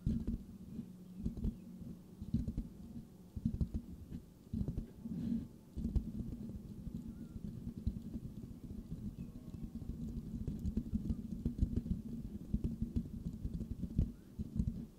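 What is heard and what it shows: Fingertips of both hands scratch and tap the rounded, hollow metal mesh grille of a white microphone. The result is a dense, low, muffled rumble with a steady hum-like band. Quick, dry taps and scrapes pop out of it throughout.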